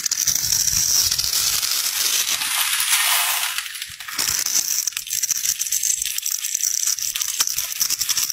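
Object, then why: Bar soap cut with a metal blade. A metal utility knife blade scrapes and carves small cubes and crumbs off a solid rectangular pink bar of soap with a pre-scored surface, held in the hand. The result is a dense run of bright, crisp scraping and crumbling with many small clicks. Around the four-second mark the sound briefly becomes a softer, smoother scrape before the crisp cutting returns.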